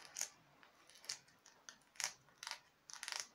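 Long nails tap the skull face of a translucent hard plastic skeleton decoration in a quiet, uneven series of taps. Each one gives a bright, dry click with almost no low end, and it dies away almost at once.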